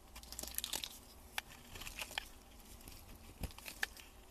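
A solid cream bar of soap, held in gloved hands with its wrapper lying in the background, has its edges shaved with a metal utility blade. The clip is a quiet run of crisp, crunchy scrapes and crackly shaving sounds, bright and airy with a few sharper clicks as the blade cuts through.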